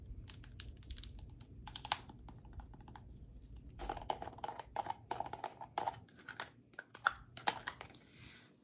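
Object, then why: Plastic jar with plastic lid. A bright green plastic jar of body butter with a white plastic lid is held in the hands and tapped and scratched with long nails on the jar body, and the lid is removed by the end. Quick, dry clicks and scratchy bursts come in uneven clusters over a faint low hum, with sharper crisp taps near the end.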